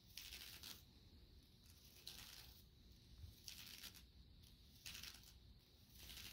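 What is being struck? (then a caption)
Thin PVC sheet. Fingertips tap and scratch the surface of shiny black PVC leggings worn on the legs, where the soft, thin sheet covers the thighs. Bright, hissy scratching swishes come in repeated bursts over a low, steady rumble.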